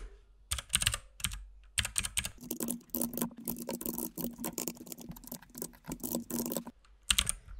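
A compact RGB mechanical keyboard with white and pink plastic keycaps is typed on with the fingertips of both hands. The result is bursts of bright, crisp key taps with short pauses between them. A faint low hum runs underneath the middle stretch.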